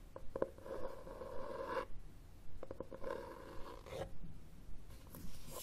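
Fingernails scratch across the red textured cloth cover of a hardcover book held upright. They make a series of quiet, raspy strokes with a faint mid-pitched tonal edge. Each stroke swells and then cuts off, repeating in an uneven back-and-forth rhythm.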